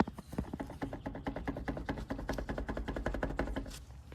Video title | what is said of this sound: How to change wheel bearings on a dirtbike #20 | should not be able to hear that sound that sound is the wheel going like this back and forth back and forth